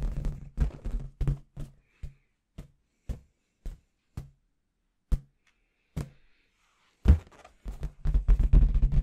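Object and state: Inflated latex confetti balloon.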